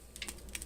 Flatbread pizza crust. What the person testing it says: cooked, crispy. You can even hear it.